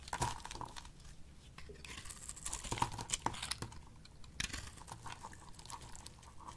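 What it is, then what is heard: Dry bar soap being sliced. A box-cutter blade slices thin flakes off the surface of a solid, rectangular, dry pink bar of soap held in the palm. Crisp, bright scraping and crackling crunches repeat in quick bursts over a quiet, low background.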